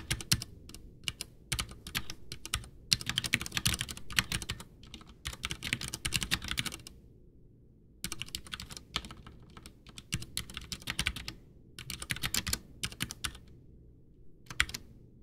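Both hands type with their fingertips, pressing and tapping the keys of a full-size, white, backlit plastic mechanical keyboard (Ducky One 2 with Cherry MX Brown switches) that has a hollow case and sits on a desk. The keystrokes are rapid, bright, and clacky, with short, dry clicks and a light low thump underneath. The typing comes in bursts with brief pauses, including a longer gap around the middle.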